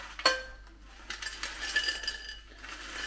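Freshly cooked french fries are shaken and moved about in the metal basket of a Philips Premium Airfryer XXL, giving a series of short, bright clinks and light rustling. The crisp, clattering sound shows the fries came out crispy.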